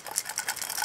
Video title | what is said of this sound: ► Craftsman Heat Gun Repair Highlights | when I shake it, it rattles. So something's floating around in there that shouldn't be